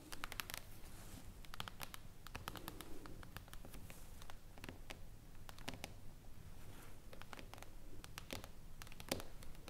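Long acrylic nails on both hands tap and lightly scratch a thin, solid, glossy glass tabletop panel lying on a wooden table. Quick, sharp, bright clicks patter unevenly throughout, mixed with soft scratching over a low, steady background rumble.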